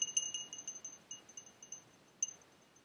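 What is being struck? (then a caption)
Glass tumbler with water. A small, faceted, clear glass tumbler, hollow and partly filled with water, is held in the palm and tapped with fingertips and nails while a second glass sits untouched on the table. About 14 quick, quiet taps give short, bright, chime-like pings, each ringing at a high pitch with a softer tone near 3 kHz. The taps fade fast and come in an uneven rhythm, with a sharper tap near the end.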